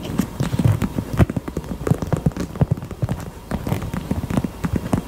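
Fingers tap rapidly on a pink heart-shaped purse, giving a steady run of soft, dull, low thuds with faint brighter clicks on top. The taps are dense and overlapping, with each one dying away almost instantly.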